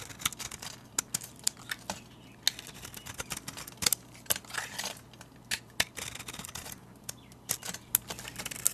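A metal utility blade shaves flakes off a solid white soap bar painted with a Starry Night design, held in the hand. Sharp, bright scraping clicks and crisp crackles repeat in quick, irregular bursts over a faint low hum, each stroke cutting off almost instantly.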